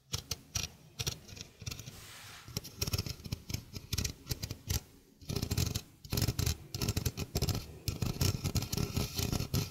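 A small, hollow stainless steel sink strainer is held in the hand while its rim and mesh are tapped with fingertips and nails. The result is a quick, irregular run of dull, low knocks with bright metallic ticks that die away almost at once. After a brief lull near the middle, the tapping returns louder and denser.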